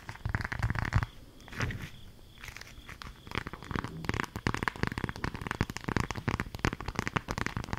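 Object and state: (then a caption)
Beeswax food wrap crinkled. A folded, patterned green beeswax-coated fabric food wrap is held in the hands and crinkled and scratched with long acrylic nails. Dense, dry crackling and crinkling comes in bursts, with a quieter stretch in the middle. It then returns as a busy run of short scratchy clicks that fade almost at once.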